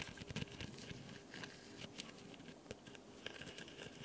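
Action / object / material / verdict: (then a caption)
scrape / foam nail buffer block / foam / none. Fingertips and long nails scratch and tap the abrasive sides of a solid, white, rectangular foam nail buffer block held upright in one hand. Soft, dry crinkly scratching runs throughout, broken by short bright clicks and light taps that die away almost at once.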